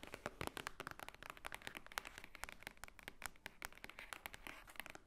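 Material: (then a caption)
Paper. Long nails tap and scratch across the top of a large, thick, solid block of white paper pages. The result is a rapid, uneven stream of quiet, dry clicks and papery scratches with bright crinkly detail and no ring after each hit.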